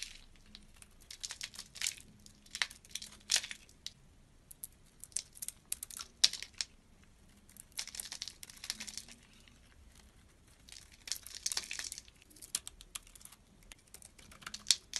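A box-cutter blade scrapes and carves thin curls off a hand-sized oval bar of dry blue soap with a glittery coating, held in one hand. Bursts of bright, crisp crinkling scrapes come in uneven runs separated by quiet gaps, with almost no low end.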